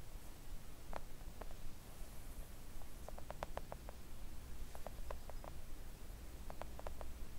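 Long acrylic nails gently tap a flat pink silicone nail art mat lying on a table. The taps come as soft, short, muted clicks, some single and some in quick clusters, over a steady low hum.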